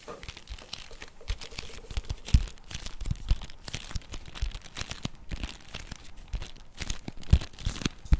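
Fast fingertip and nail tapping and scratching on the printed surface and edges of a flat cardboard chocolate bar box held in both hands. Dense, irregular dry taps and crinkly scratches run throughout, with occasional sharper, louder knocks.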